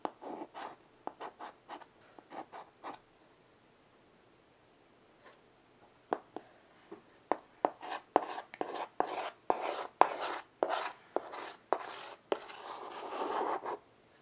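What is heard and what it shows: A child draws lines with white chalk on a small, solid wood-framed blackboard resting on carpet. Short, dry scratching strokes and light taps come in a quick cluster, pause for a few quiet seconds, then return as a longer run of brighter, busier strokes. The clip ends with a sustained rubbing scrape.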